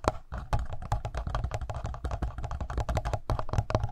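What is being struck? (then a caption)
Plastic handheld audio recorder. Fingertips and short nails tap and scratch the front face and buttons of a black plastic Tascam handheld recorder with a hollow body and X/Y mic capsules on top. The result is a fast, uneven stream of short, dry taps and clicks, each with a deep, hollow low thump, plus light scratching between them.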